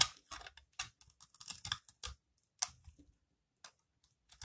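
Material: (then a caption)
Soap. A metal blade repeatedly scrapes a solid, palm-sized green bar of dry recycled soap held in the hand, shaving off crumbly curls that fall onto the table. The scrapes come as short, dry, crunchy bursts of bright, high-pitched crackle with very little low end, separated by brief pauses.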